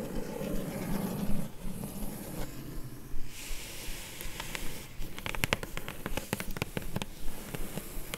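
A flat, hollow, closed kraft-brown corrugated cardboard mailer box lying on a fur rug is tapped and scratched across its top with long glittery acrylic nails. Low, muffled scratching and rubbing fill the first half. It gives way to a run of sharp, dry taps with some faint hissy scraping between them.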